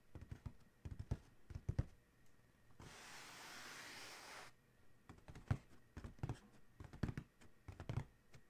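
Fingertips of one hand, then both hands, tap rapidly on the closed lid of a large, hollow black cardboard Adidas shoe box, making quick, dull, low thuds with almost no ring. The taps come in uneven bursts, with a steady, bright, hissing noise of about one and a half seconds in the middle.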